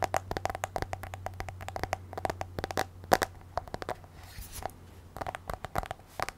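Long nails tap quickly and irregularly on the black glass touchscreen of an iPad in a case, held in both hands. Each tap is a short, crisp click with a bright edge, ringing briefly around 730 Hz. A steady low hum sits under the taps, with quieter pauses between bursts.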